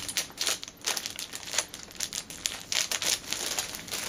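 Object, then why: Cellophane film over a fabric pouch. Fingertips and nails rub, press and crinkle a clear cellophane bag holding a flat orange fabric pouch as it lies on a cushion. A dense stream of bright, crisp crackles and rustles with almost no low end rises and falls in quick irregular bursts, each snap dying away almost instantly.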